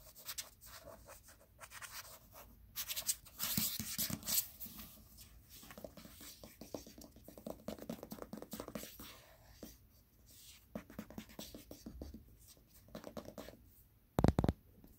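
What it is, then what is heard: Paperback book. Fingertips tap on the glossy card front cover of a Stephen King paperback, a solid block of paper. Then the book is turned, and the fingertips tap and scratch along its spine. The result is a run of soft, dull, short taps mixed with scratchy rustling, with a louder burst of taps near the end.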